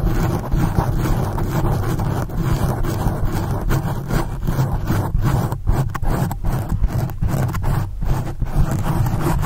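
Both hands scratch and rub the soft, porous black foam windscreen of a standing condenser microphone with very long acrylic nails in fast strokes. A continuous, dense scratching rumble is heard, heavy in the low end, with rapid uneven bursts and brief dips throughout.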